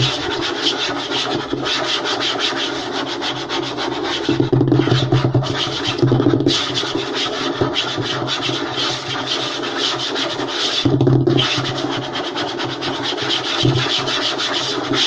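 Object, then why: Light wooden table top. Fingertips and short nails rub and scratch quickly across a flat, light wooden tabletop. The result is a continuous, dense, raspy scratching texture with brief louder low thumps mixed in.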